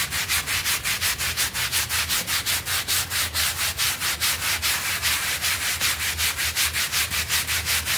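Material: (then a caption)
Synthetic fibre. A stiff-bristled hand brush scrubs back and forth across a small blue synthetic pile rug, wet with foam, lying on a tiled floor. It makes a steady run of quick, even, bright hissing strokes with little low end.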